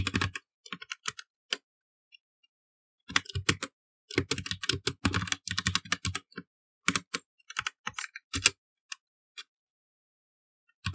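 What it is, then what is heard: Plastic mechanical computer keyboard. Fingertips type code on a black plastic mechanical computer keyboard with plastic keycaps, pressing keys in quick irregular bursts separated by short pauses. Each keystroke is a sharp, dry click with a bright top and a soft low thump, dying away almost instantly.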